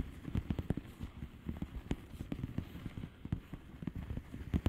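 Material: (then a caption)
Plastic. Long polished nails tap rapidly on the bubbles of a flat, hollow plastic bubble-wrap mailer lying on a surface. The taps are quick, soft, low thuds that stop almost instantly, with no bright ring.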